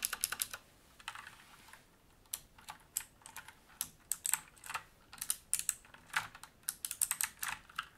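Fingertips type on a full-size black mechanical keyboard with plastic keycaps and a grey metal top plate, resting on a wooden desk. Quick, bright, clacky keystrokes come in irregular bursts with a short pause near the start, each tap dying almost instantly and carrying almost no low end.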